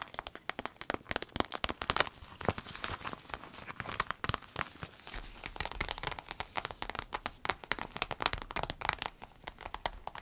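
Long nails tap and scratch a small, empty, clear orange vinyl zip pencil case with a smiley print while hands bend it. Dozens of quick, sharp taps land over bright, crinkly scratching and soft plastic crackle. Each tap dies away almost instantly, making a dense patter.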